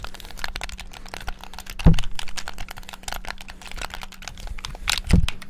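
Fingertips rapidly tap the buttons and sticks of a black, hollow, plastic Xbox-style gamepad, making a fast, dense stream of light plastic clicks. Two heavier, lower-pitched thumps stand out partway through and near the end, over a faint steady low hum.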